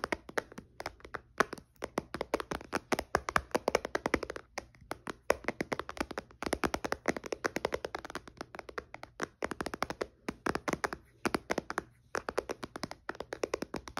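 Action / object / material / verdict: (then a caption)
tap / tablet with glass screen / glass / none. Fingertips and nails tap repeatedly on the dark glass screen of a white iPad resting in a case on a blanket. A rapid, continuous stream of short, dry, clicky taps sits mostly in the midrange, with no ringing after each tap and brief pauses between bursts.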